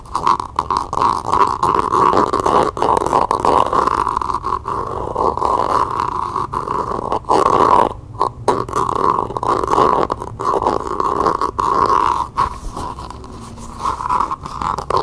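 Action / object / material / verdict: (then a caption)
tap / small cup wrapped in faux leather / faux leather / none. Long nails rapidly tap and scratch the outside of a small hollow cylindrical cup or dice cup wrapped in tan map-print faux leather and held in the hands. A dense, steady stream of quick clicks and scratchy rubbing carries a hollow ring around 1 kHz. Brief pauses break it up, most noticeably around the eighth second.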